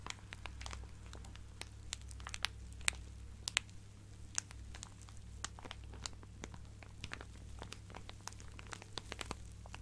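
A clear plastic zip-lock bag full of fabric scraps is held close and squeezed and scratched with fingernails. Dense, sharp, bright crinkles and crackles pop out continuously over a quiet, steady low hum.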